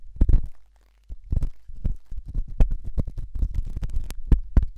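A thin hooked stainless steel probe scratches inside the ear canal of a white silicone ear-shaped microphone. The result is close, muffled, deep rumbling scrapes and rustles in quick irregular bursts, with a brief quiet pause near the start.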